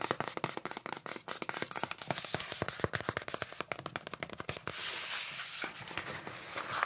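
Fingertips tap and handle the surface and edges of a small, closed, white cardboard "Accessory Box," a long, narrow, hollow box with unknown contents held in both hands. A rapid run of short, dry, hollow taps with almost no ring fills the first four and a half seconds. Then a brighter, hissy rustle of the fingers rubbing the cardboard takes over, with a few more taps near the end.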